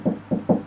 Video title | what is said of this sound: How to Locate Stud in Wall Without Using Stud Finder? | See that's hollow right there.